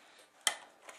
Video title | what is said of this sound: 101 Holsters: The "Right Now" Raven alternative | you can hear the gun rattle it a little bit that thing goes nowhere